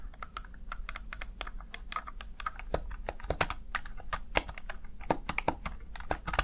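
Fingertips tap and press the keys of a small black plastic backlit Razer Tartarus Chroma gaming keypad. A rapid, uneven stream of short, sharp plastic clicks with bright edges plays over a steady low hum.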